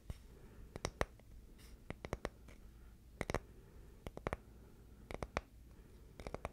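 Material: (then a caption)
Wood. A small, flat, solid oval of light wood, about palm-sized, is scratched with the fingernails. Short, sharp, dry scratching clicks come in scattered bursts and small clusters, each dying away almost instantly over a quiet, low background hum.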